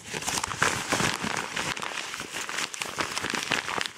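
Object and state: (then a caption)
Kraft paper padded mailer, crumpled and scratched. A yellow kraft paper padded mailer envelope with a BM3 barcode label is crumpled and scratched with both hands. Continuous dry crinkling and crackling bursts fill the clip, bright and papery with little low end, rising and falling in quick, busy pulses.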